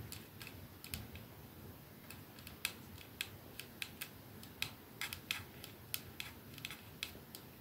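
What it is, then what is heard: Glass perfume bottle. A glass 212 capsule perfume bottle with a silver band rests in one palm while the nails of the holding hand tap rapidly on it. The result is a string of short, bright clicks at uneven intervals that die away almost instantly over a soft, steady background hiss.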